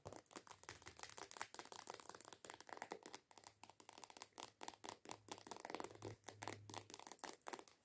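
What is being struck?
Plastic lotion bottle.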